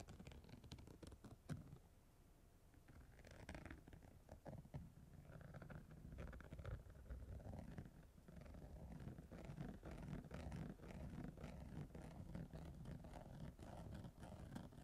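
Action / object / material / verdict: scrape / chunky glitter fabric over a padded surface / glitter fabric / none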